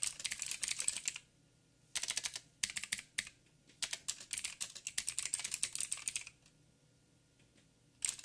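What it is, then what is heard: Mechanical keyboard with plastic keycaps. Fingertips of both hands type on a backlit mechanical keyboard with black plastic keycaps on a silver frame and a hollow housing. Rapid bright, clicky key taps come in bursts separated by short silent pauses, with a final burst near the end. Each tap is dry and dies away almost instantly, with very little low end.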